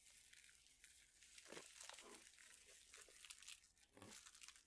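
A plastic pouch full of dried chili peppers is flexed, folded and crinkled with the fingertips. It makes a soft, continuous, bright crinkling and rustling with almost no low end. The crackle swells fuller around the middle and again near the end.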